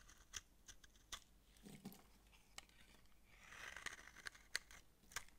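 A utility knife blade scrapes powdery curls from the flat surface of a dry, palm-sized pink massage soap bar held in the palm. Quiet, crisp, bright scraping ticks and clicks are scattered across the clip. A softer, longer raspy scrape swells in the middle before more sharp snaps follow.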